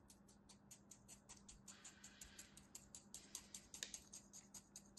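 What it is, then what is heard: Kinetic sand block being scraped. A thin blade and then the tips of a pair of scissors scratch and score parallel lines into a palm-sized, solid, compacted block of beige kinetic sand held in an open hand. The result is a quick series of crunchy, crumbly scraping strokes, mostly high and bright with little low end, over a faint steady hum.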